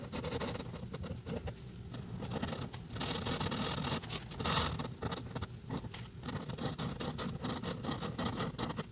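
A white alcohol marker with a brush tip, held in the fingers, colors a printed paper coloring page lying flat on a table. The marker rubs and scratches across the paper in short strokes, making a continuous, bright, scratchy texture with quick bursts of friction noise.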